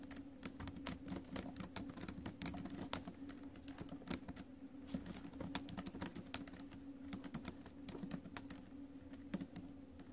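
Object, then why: Laptop keyboard, plastic keys in a metal body. Fingertips and acrylic nails type on the plastic keys of a silver metal laptop, producing a steady, quiet stream of sharp, bright clicks and taps. A low, steady hum runs underneath the whole time.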